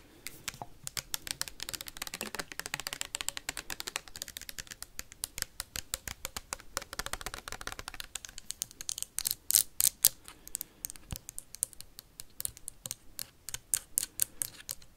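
A tall clear plastic hand sanitizer bottle with a white cap, partly filled with liquid, is tapped and scratched fast with metal paperclips. The result is a dense run of sharp, bright clicks and scrapes that grow louder and more spaced out in the second half.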